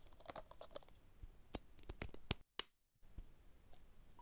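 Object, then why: Metal aerosol can. A hand-sized Dettol aerosol disinfectant can, with a metal body and blue plastic cap, hollow and pressurized, is held close and tapped and traced with fingertips and short nails. Quick, irregular, crisp clicks and taps mix with dry scratchy tracing, and a brief silence falls around two and a half seconds. The tapping then resumes softer.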